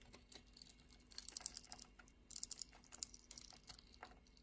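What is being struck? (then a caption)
Bar of soap scraped with a metal blade. A metal utility-knife blade scrapes across the scored surface of a solid purple soap bar, partly translucent inside and held in the palm, chipping off small soap cubes. The sound is quiet, bright, dry crackling with quick snapping ticks that come in short clustered bursts, with almost no low end and no ring after each snap.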